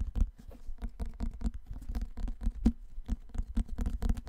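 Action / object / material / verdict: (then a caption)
tap / cardboard-and-paper hardcover book / cardboard / none. A large, dark, solid hardcover book with cardboard-and-paper covers is held upright in both hands in front of the mic while fingertips and nails tap and scratch its cover and spine. The result is a quick, irregular patter of soft, dull, low taps mixed with dry scratching, each tap dying away almost instantly with no ring.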